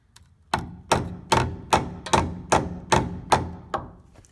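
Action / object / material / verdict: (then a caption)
strike / steel truck frame / steel / solid. A hammer strikes a suspect-looking section of the steel frame rail under the passenger side of the cab on a 1985 Toyota 4WD pickup that saw road salt. Nine evenly spaced, sharp metallic thunks ring briefly with a faint high tone. The frame holds up solid; much of the bad-looking surface is just old POR-15 coating peeling off after more than 10 years.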